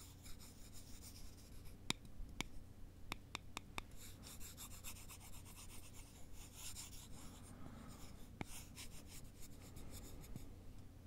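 Two thin, solid wooden sticks are held by the fingertips and slowly rubbed along each other in a cross. The result is a quiet, dry, bright scraping texture broken by a few sharp, very short clicks, over a steady low hum.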